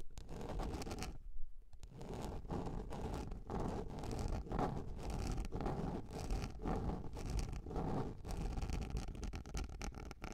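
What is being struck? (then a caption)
Plastic container lid. Long nails scratch and scrape across a large round yellow plastic container lid, making a continuous dull rasping with a low, hollow body and little brightness. A brief quieter gap falls near 1.5 seconds before the scraping resumes.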